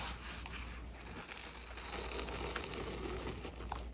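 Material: Chalk.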